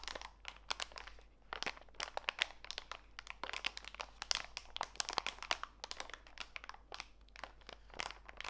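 A small clear plastic bag full of walnut pieces, lying on a foam mat, is rubbed and pressed by fingertips and long white nails. It gives a steady run of bright, dry crinkles and sharp crackles of plastic with short crunchy bursts. Each snap dies away at once with no ringing.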